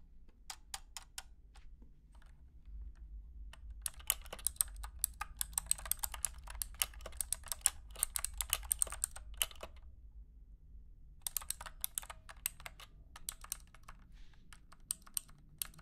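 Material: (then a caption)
Plastic. Fingertips of both hands type on a compact 60% plastic mechanical keyboard with clicky switches, wired and resting on carpet. A few scattered taps give way to a dense run of sharp, bright clicks, then a short pause and another quick burst. Each click is crisp and dies away almost instantly over a steady low hum.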